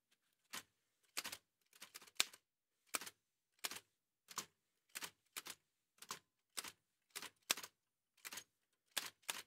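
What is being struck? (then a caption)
Manual typewriter with metal body and typebars. Gloved fingertips in white satin gloves type on a large, heavy old Remington manual typewriter with a dark painted metal body and paper loaded. Sharp, bright clacks of key and typebar strikes come in short, irregularly spaced bursts with very little low end. Each strike dies away almost instantly, leaving near silence between bursts.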